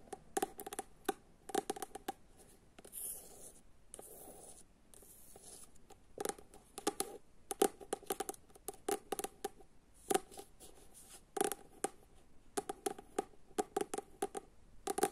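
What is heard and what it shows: Long acrylic nails tap and scratch the glossy cardboard front cover of a solid paperback novel, "Dragi Džone," held upright. About forty quick, dry clicks with a hollow mid-range body come in bursts and rapid runs, broken by soft scratchy rasps across the cover.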